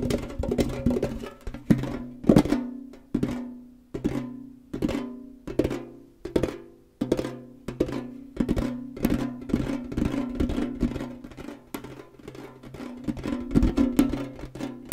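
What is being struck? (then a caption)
Tall rectangular metal tin canister. A tall, hollow, rectangular printed metal Kellogg's tin canister is tilted and tapped quickly with fingernails and fingertips. Rapid bursts of sharp clicky taps ring with a hollow, boxy tone around 220 Hz, with brief pauses between the flurries.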